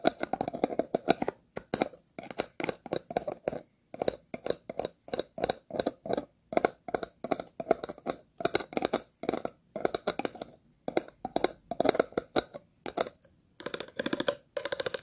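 The tip of a pair of scissors scratches the ridged, star-shaped base of an empty, hollow, clear plastic water bottle. Short bursts of dry, rapid clicking scrapes repeat in quick strokes separated by brief pauses. The tone is hollow and mid-pitched with bright, crackly edges.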